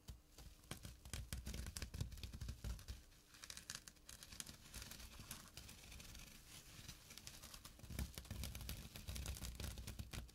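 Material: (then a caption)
Burlap. Fingertips and short nails scratch the woven surface of a small, flat burlap drawstring pouch. The quiet clip is a steady run of rapid, dry, rasping scratches with bright crackle on top and a soft low thump beneath. Each stroke stops almost at once, with no ring.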